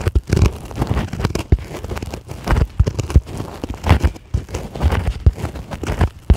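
Long acrylic nail tips tap and scratch across a white polyethylene packing foam sheet lying on a table. The result is a dense, irregular run of soft, muffled taps and rustling scrapes, heavy in low thuds with almost no bright edge, each tap dying away almost at once.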